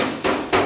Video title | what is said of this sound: My First youtube Project Bodacious | that sounds tinny so I insulated it when I replaced it